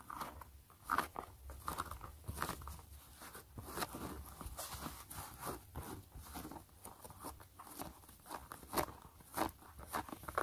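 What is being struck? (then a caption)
Knit mesh fabric sneaker upper. Long glittery nails scratch and trace across the gray mesh knit fabric upper of a hollow sneaker. The result is a steady run of dry, crunchy, rasping strokes with bright edges and a mid-range tone, each dying away almost at once.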